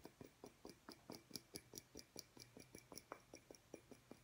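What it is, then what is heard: Glass light bulb. A small, clear, hollow glass incandescent light bulb with a metal screw base, held in one hand over a wooden table, is tapped with the fingertips and nails of the other hand. About seventeen quick, quiet taps come at an uneven pace, each a dry tick with a faint bright glassy ping that dies away almost at once.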